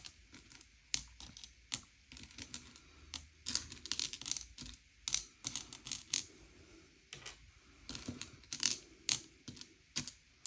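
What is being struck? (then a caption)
Small sugar-shelled chocolate candies on a plate. Fingertips slide and push a pile of small, hard, sugar-shelled M&M's candy-coated chocolates around a grey plate, sorting them by colour. The candies give off quick, bright clicks and ticks that die away almost instantly, arriving in irregular bursts with short quiet gaps between them.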